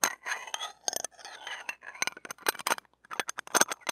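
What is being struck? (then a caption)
Steel wire-mesh microphone grille and stainless steel pick. The shaft and tip of a stainless steel ear pick are scraped across the wire mesh of a small, hollow steel-mesh mini microphone grille. The result is a rapid run of bright, crackling scratches and sharp clicks with a thin, high metallic tone and almost no low end. Each burst cuts off quickly with no ring.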